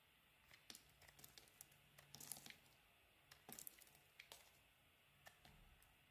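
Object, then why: Solid bar of olive and argan soap carved with a metal blade. A metal blade carves the corner of a solid cream olive and argan soap bar into curls and chunks. Quiet, bright, crisp crinkling and tearing scrapes come in short bursts, with sharp little clicks and crunches as pieces break away.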